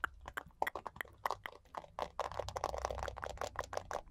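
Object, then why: Plastic paddle hairbrush. Long nails tap and scratch the hollow plastic back and handle of a purple plastic paddle hairbrush with a rhinestone-studded back and a glitter heart. Quick, light, dry clicky taps with almost no ring come first, then give way to a denser, continuous scratchy rustle in the second half. The sound is mid-focused with little low end.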